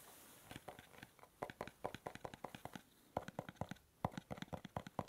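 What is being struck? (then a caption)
Small cardboard box. A small, hollow, dark navy cube-shaped cardboard gift box is held at the ear microphone and tapped and scratched with the fingernails. The result is a rapid, uneven run of short, dry, hollow taps and light scratchy rustles that die away almost instantly, over a faint hiss at the start.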